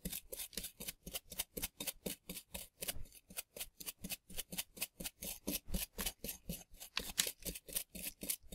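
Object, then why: Plaster dig block. A gloved hand brushes loose dust off a flat, solid, dusty plaster dig block shaped like a dinosaur fossil with a small bristle brush, while the other hand holds a scraping tool. The result is a steady run of 37 quick, separate rasping strokes, each a bright, hissy sweep with a little low thump that stops almost at once.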